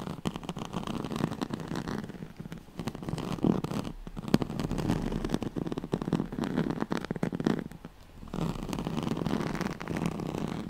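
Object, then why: Woven straw-like fabric mat. Long nails scratch quickly along the ribbed weave of a yellow-gold striped, woven straw-like oval fabric pad held close to the mic. The result is a dense, rapid, dry scratching texture, mostly low and mid in tone, that comes in steady bursts with brief quieter pauses.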